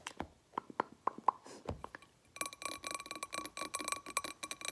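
Long painted fingernails tap a medium blue glass candle jar filled with solid wax, giving separate short clinks with a clear ring around 1 kHz. After about two seconds they switch to quick, dense scratching and tapping across the glass, a steady bright rasp full of rapid ticks.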